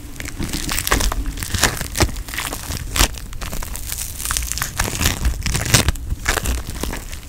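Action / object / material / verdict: scrape / foam bead putty / foam beads / none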